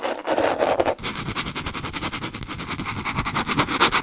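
Long nails scratch and tap on a small spiral notebook with a green cardboard cover and metal wire binding. A raspy mid-toned scrape runs for the first second, breaks off briefly, then turns into a fast, steady run of bright, crisp ticks and scratches that continues to the end.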